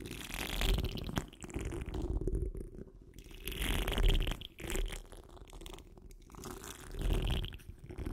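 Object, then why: Wire-mesh microphone grille scratched with nails. Long almond acrylic nails and the fingertips of both hands scratch close up over the large, dome-shaped, hollow metal wire-mesh grille of a condenser microphone. The scratching comes through as a deep, rumbling rustle with a gritty, bright hiss on top, rising and falling in slow, uneven swells.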